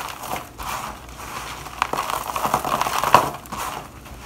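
Gloved hands press and crush finely crumbled dry shavings of bar soap in a black plastic bowl. The result is a continuous soft crunching and crackling, centered in the midrange, with a few sharper snaps standing out.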